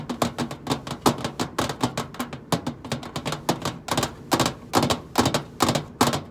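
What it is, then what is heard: Nail tapping on a stainless steel microwave side panel. Long acrylic nails tap on the flat side panel of a hollow stainless steel microwave casing. About 34 quick, irregular taps sound as sharp, bright clicks over a short, hollow metallic resonance that dies away quickly after each tap.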